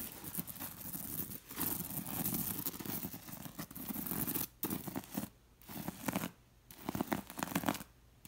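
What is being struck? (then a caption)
Bead-embroidered linen pillow. Long nails and fingers scratch and rub across the bead rows of a bead-embroidered linen pillow, making a dense, raspy, crackling texture with soft low rustle underneath and a bright top. The scratching runs in steady bursts, broken by several short silent pauses toward the end.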